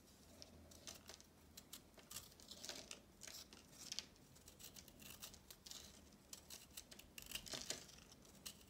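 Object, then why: Pressed chalk block. A small knife scrapes and cuts crumbs from a round, palm-sized disc of pressed multicolor chalk held in one hand, and the crumbs fall onto a marble surface. The sound is a quiet run of bright, dry scrapes and crumbly crackles with short, sharp bursts and almost no ring.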